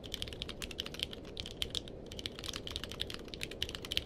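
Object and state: Mechanical keyboard with plastic keycaps.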